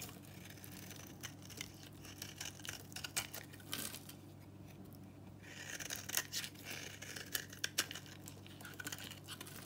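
An old, super-dry solid pink bar of soap, painted in a copper color and held in the hand, is shaved with a utility knife into curled flakes and powder. Bright, dry crackling and scraping come in short bursts over a faint steady low hum, with a quieter pause midway before the shaving picks up again.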